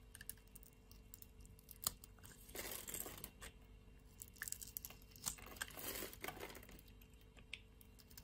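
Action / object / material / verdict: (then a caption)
scrape / bar of soap shaved with a metal blade / soap / none. A metal blade shaves the surface of a solid, grid-scored pink bar of soap held in the palm. Quiet, bright scraping and crinkling bursts come in two longer passes, with scattered small crisp ticks and clicks between them over a low background hiss.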